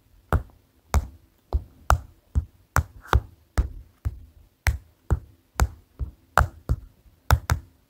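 A paper notepad is tapped with the fingers for ASMR, making a steady series of separate, dull, low thuds with very short decay. The taps are soft and deep with almost no bright content, and near-silence falls between each one.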